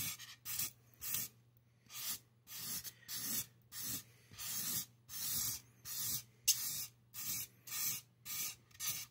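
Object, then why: Expanded polystyrene mannequin head. A black-gloved hand drags a black marker in quick hatching strokes across the top of a solid expanded polystyrene (styrofoam) mannequin head, scratching over the foam beads. Each stroke makes a bright, hissing, squeaky scratch, repeated in short uneven bursts with brief silences between them. A faint, steady low hum runs underneath.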